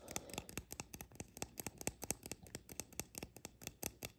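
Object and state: Painted resin mushroom figurine.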